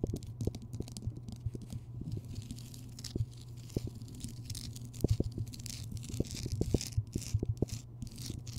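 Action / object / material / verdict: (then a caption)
scrape / rock salt lamp / rock salt / none. Long nails scratch and tap all over the uneven surface of a large, solid, rough Himalayan rock salt lamp, lit from within. Quick, dry taps and crackly scraping sit over a steady low hum, with a faint bright hiss as the nails drag across the rock.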